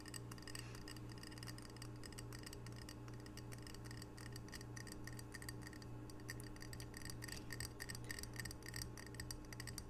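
A small, square, glazed ceramic tile coaster printed "Camano Island," solid and held in both hands, is tapped quickly with long fingernails. A steady stream of sharp, bright clicks with short glassy rings plays over a low, constant hum.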